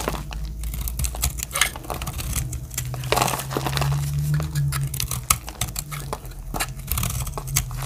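A metal utility-knife blade carves dry chips off a blue and white striped solid soap bar, making a steady run of crisp, crackling scrapes and flicks. Brief bright transients ride over a constant low hum.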